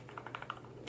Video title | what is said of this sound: CRKT Razel Fixed Blade Review (It's My Favorite CRKT Ever) | little bit of rattle if I really really shake it